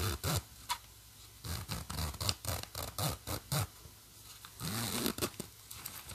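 Fingers hold the metal pull of a black plastic zipper on a green nylon bag and slide it along the track in short, irregular strokes. Each stroke makes a quick, bright, rasping zip with some low rumble beneath it, separated by brief quiet gaps.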